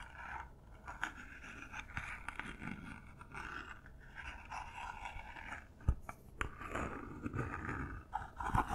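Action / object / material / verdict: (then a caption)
scrape / cardboard gift box covered in textured paper / paper, cardboard / none. Long nails scratch and tap the top and sides of a small, hollow cardboard gift box covered in textured silver paper, held in both hands. A steady, soft, papery scratching fills the clip, broken by a few sharper, short taps that die away quickly.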